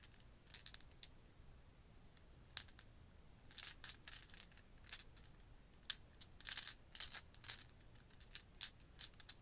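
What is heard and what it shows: About ten small solid plastic or resin polyhedral gaming dice, clear, pearl and black with gold numbers, are cupped in both hands over a leather desk pad and shaken so they clack against each other. Quiet, bright, dry clicks come in irregular bursts and scattered single taps, each dying away almost at once with little low end.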